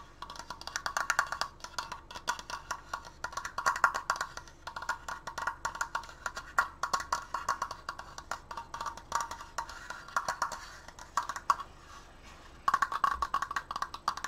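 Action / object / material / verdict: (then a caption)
tap / wooden triangular decoration / wood / none. Fast fingertips tap on a wooden Triforce decoration, producing a dense stream of short, dry, wood-block-like clicks centered around 1–1.4 kHz. The rapid tapping comes in bursts, briefly pausing near the end before resuming louder.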